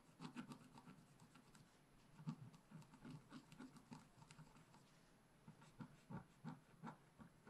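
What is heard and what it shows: A wooden stylus tip scratches and hatches foliage along the bottom edge of a flat, black, wax-coated scratch art paper page. Quiet, dry scratching strokes come in short bursts with a low, soft body and faint bright edges, pausing briefly near the middle before the strokes pick up again.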